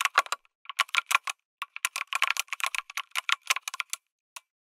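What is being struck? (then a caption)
Mechanical keyboard with aluminum case and plastic keycaps. Fingertips type on a lit mechanical keyboard with an aluminum case and red and grey plastic keycaps. Quick bursts of sharp, bright clacks come in uneven runs with short pauses between them. Each click stops almost at once, with no low-end thump.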